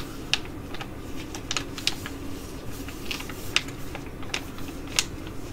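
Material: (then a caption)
Foil laminate. A filled green foil-laminate sheet mask pouch is crinkled and scratched with long nails, shown back and front. Quick, bright, dry crackles and ticks come in irregular bursts, with a few sharper snaps standing out. A faint, steady low hum runs underneath throughout.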